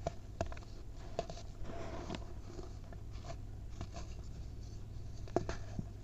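Fingertips crush and rub clumps in a packed white mound of baking soda, turning them into powder. Soft, dry crunches and scratchy rubbing come in short bursts over a steady low hum.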